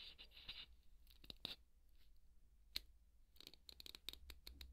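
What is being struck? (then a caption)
Polystyrene foam ball. A large white solid polystyrene foam ball is scratched with a wooden skewer held in the fingers. Short, bright, dry scratching strokes and squeaky scrapes come in quick bursts with gaps between them. A faint low hum sits underneath.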